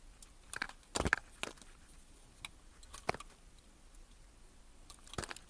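A solid blue bar of soap, scored into cubes and held in the hand, is cut and scraped with a utility knife blade. Short, crisp crunching and scraping clicks come at irregular intervals over a quiet background, with the strongest ones around the first second and near the end.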